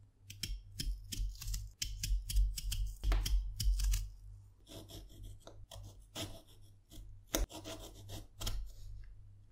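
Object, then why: Cucumber peeled and cut with a small knife. A fresh, whole green cucumber, solid and moist, is held in hands with long purple nails while a small metal knife with a wooden handle peels its skin, then slices it into rounds on a light board. Rapid, uneven rasping scrapes with bright crisp edges come first, followed by quieter cutting sounds with a few sharp clicks. A steady low hum runs underneath throughout.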